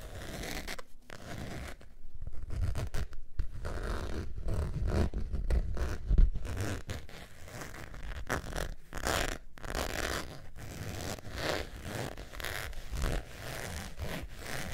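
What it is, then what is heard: Faux leather zip wallet. A beige textured faux leather zip wallet is held up while long nails scratch across its surface. Repeated dry scratching strokes come in quick bursts, carried by a heavy low rumble with faint brighter rasp on some strokes, rising and falling in loudness throughout.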